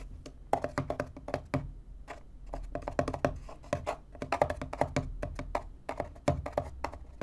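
Fingertips and nails tap and scratch the top panel of a small, empty, hollow corrugated cardboard box. The result is a quick, uneven run of dull, hollow knocks that stop almost at once, with soft scratching between the taps.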